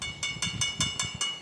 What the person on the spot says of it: Coin కొట్టినట్టయితే మనకు శబ్దం వస్తుంది మేడం. ఇక్కడ మనకు మెటల్ సౌండ్స్